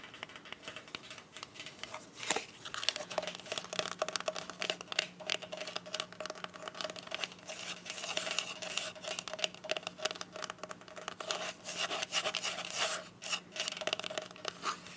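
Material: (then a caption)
Soft plastic. A small black hollow glasses case with a soft plastic covering is gripped in both hands and rapidly tapped and scratched with the tips of long white acrylic nails. The sound is a dense, continuous run of crisp, bright clicks and crinkly scratching with no ring after each tap, over a faint steady low tone that begins a few seconds in.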